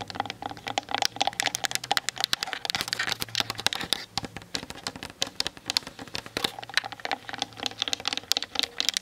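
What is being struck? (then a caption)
Plastic camera body and lens barrel. Long nails tap quickly on the hollow plastic body and lens barrel of a Canon DSLR camera mounted on a tripod. The result is a dense stream of sharp, bright clicks with almost no low end and no ring, sounding much like rapid typing.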